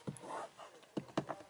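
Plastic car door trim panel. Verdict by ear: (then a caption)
Hard. Four short, dull taps on the hard-touch plastic rear door trim of a 2022 Kia Forte GT, each dying away almost instantly with a low-mid knock. The trim is hard plastic, unlike the padded section of the door.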